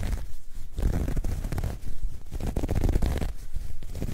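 A soft, hollow, dark grey ribbed knit fabric bag is stretched and scratched with long nails. The result is a continuous, dense, low rumbling scratch with rapid textured rasps and almost no high sound.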